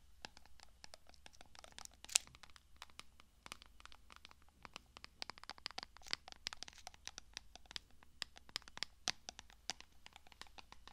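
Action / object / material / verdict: scrape / glass jar with metal lid / glass, metal / none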